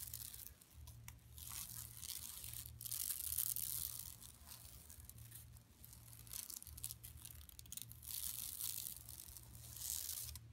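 Long nails on both hands scratch across the printed buffalo area of a large, flat, empty yellow woven plastic mesh tote lying on carpet. The result is bright, rasping, crinkly scratching that swells and fades in rough bursts over a steady low hum.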